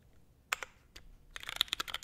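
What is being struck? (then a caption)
Mechanical keyboard with ABS plastic keycaps. Fingertips type on a small, hollow-cased 65% mechanical keyboard with a navy case, Hyperglide MX Brown switches, a carbon fiber plate and grey/white double-shot ABS keycaps, resting on a desk mat. A few sparse, bright clacky taps give way to a quicker run of sharp, dry keystrokes with almost no low end and no ring after each hit.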